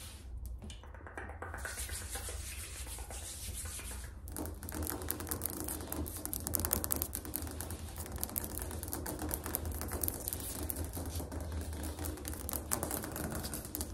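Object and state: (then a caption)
Ceramic tile floor. Fingernails tap rapidly on a ceramic tile floor, making a fast, continuous series of hard, bright clicks. A steady low hum sits under the tapping, which grows denser and louder after the first few seconds.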